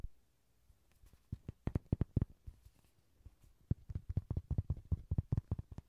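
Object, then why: Soft vinyl toy horse. A yellow, hand-sized, hollow soft vinyl Rody bouncing-horse toy is held by hand beside the recorder and tapped with the fingertips. About 22 dull, low, hollow thumps come in irregular bursts, with a quiet pause near the middle and denser tapping toward the end. Each thump is short and dies away almost at once.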